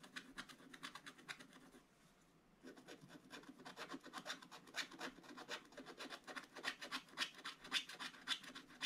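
A wooden stylus scratches back and forth across a black-coated scratch-art paper page in an open book. Quick, bright, rasping strokes repeat steadily, stop briefly near the two-second mark, then return and grow a little louder toward the end.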